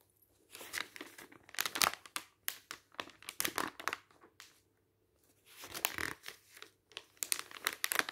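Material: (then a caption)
Paper. Fingertips turn and rub the pages of a thin, glossy printed paper magazine lying on a table. Bright, papery crinkles and rustles come in quick, uneven bursts, with a brief quiet pause midway before the crinkling resumes.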